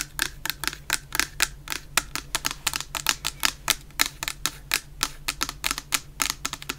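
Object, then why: Plastic shower gel bottle. A medium clear plastic shower gel bottle, full of orange shower gel, is tapped with long painted nails in a quick, uneven rhythm. About 31 sharp, bright clicks ring out, each dying away almost instantly over a faint, steady low hum.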